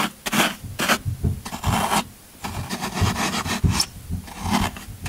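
A yellow-handled metal scraper scrapes and carves the end of a solid green floral foam brick held in one hand. Repeated rough, crunchy rasping strokes come in bursts with brief quiet gaps, with a low body and bright, hissy edges. The foam's end is worn and carved away.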